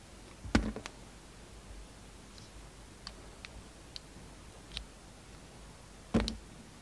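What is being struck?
Soap flower cut with a knife blade.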